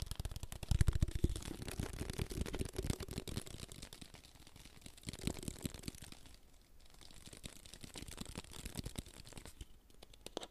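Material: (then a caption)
Plastic. A small clear plastic water bottle is held up in both hands close to the microphone while fingertips rapidly tap and crinkle its thin plastic walls. The result is a fast, irregular stream of soft, dull thumps mixed with bright crinkling crackles, louder in the first few seconds and then quieter and steadier.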